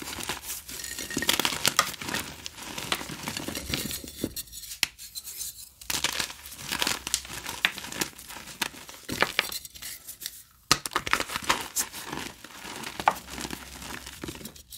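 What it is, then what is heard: Reformed gym chalk crumbled by hand. Soft, solid pieces of pressed, reformed glow-in-the-dark gym chalk are squeezed and crumbled between the fingertips and palms of both hands over a bowl of chalk powder under UV light. The result is a dense run of dry, bright crunching and crackling with sharp little snaps. It pauses briefly into quieter, sparser crumbling before the crushing picks up again.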